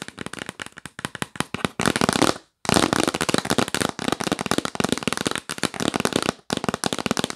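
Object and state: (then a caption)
Cardboard box lid tapped with nails. Long nails tap rapidly on the printed lid of a yellow cardboard box that is hollow and rigid. The result is quick bursts of sharp, dry, clicky taps that die away almost instantly, with brief silent gaps between flurries.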